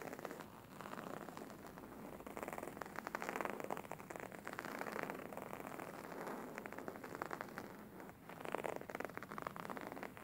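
Fingernails scratch and fingertips tap on a beige embroidered linen pillow with stitched fabric. It produces a quiet, dense, continuous scratchy rustle centered in the mids, with rapid crackly textures swelling and easing in waves.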